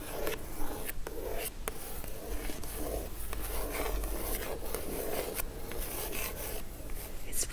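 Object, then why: Printed cardboard gift box. Long acrylic stiletto nails tap and scratch the top of a hollow, book-sized, dark-blue Christmas-printed cardboard gift box lying flat. The result is a steady, dry scraping and rubbing texture with scattered light taps over a low background rumble.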